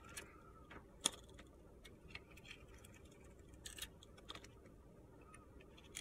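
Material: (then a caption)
Soap. A metal box-cutter blade scrapes and carves the glitter layer off a solid, palm-sized purple-pink glitter bar of soap. Quiet, bright, gritty scrapes and short crisp ticks come at uneven intervals over a low, steady background hiss.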